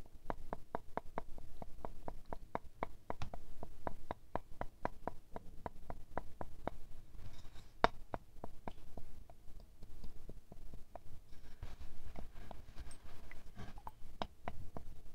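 A thin wooden stick taps a small square glass perfume bottle filled with amber liquid, held in hand over white fur. It makes a steady series of short, clicky glassy tinks with a faint tone around 690 Hz. The taps start quick and even, slow and thin out in the middle, then pick up again near the end, with each one dying away almost instantly.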